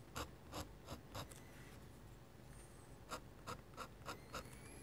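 A metal-nib dip pen scratches short foliage strokes across a sheet of flat white drawing paper. Quick, bright, raspy scritches come in two bursts, separated by a quiet pause with faint high whistling tones. The background carries a low rumble.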